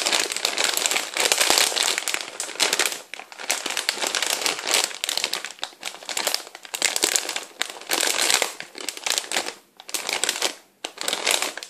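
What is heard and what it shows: Fingertips and nails squeeze, rub and crinkle a large, full, clear plastic bag of popcorn as it is held up and turned. Dense, bright crackling crinkles come in bursts with short quiet gaps, with no low-end weight.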